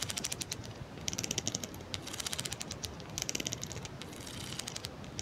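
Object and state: Plastic comb teeth strummed.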